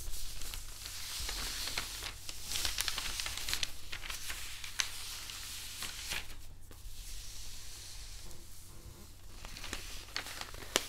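Fingertips and palms of both hands rub and slide across a large flat spread of thin newsprint sheets on a wooden table. A steady, bright rustling and crinkling runs throughout, broken by sharp little crackles and tearing-like swishes, over a low background hum.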